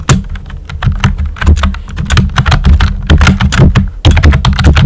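Fingertips with short nails type steadily on a pink and white plastic computer keyboard with round typewriter-style keycaps and hollow keys. The quick run of keystrokes gives bright clicky taps over a heavy, hollow low thump, with a brief pause before the typing picks up again.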